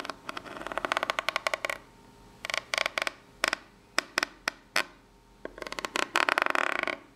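A long pink nail scratches and taps along the ridges of the flat, ribbed top of a corrugated cardboard box. It makes bursts of rapid, dry, bright ticking with no low end, separated by short pauses and a few single sharp taps. The final burst is the densest.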